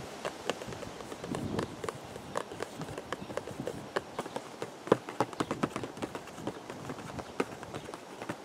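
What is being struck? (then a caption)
Cardboard teacake box. A hollow purple cardboard teacake box, held up close, is tapped with the fingertips in a quick, uneven run of short, dry taps centered around a mid-range tone. A brief low rumble swells in the background early on.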